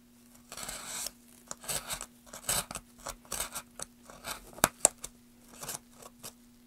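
A small metal carving knife scrapes and cuts into the carved end surface of a solid wooden plank held at an angle in a gloved hand. The result is a series of short, dry, bright scraping and shaving strokes separated by brief pauses, with two sharper clicks near the end. A faint steady low hum runs underneath throughout.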